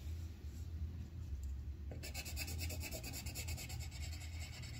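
The tip of a yellow wooden colored pencil rubs across a thin white paper sheet on a clipboard, coloring a flower petal. A steady low hum fills the first two seconds, then quick, rhythmic, bright scratching strokes start and continue to the end.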